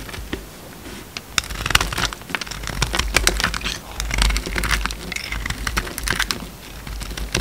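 A utility knife blade shaves thick curls off a hand-sized solid bar of orange soap with a red outer layer, held in the hand. The cutting makes dense, crisp crackling and scraping with many sharp bright clicks over a faint low hum.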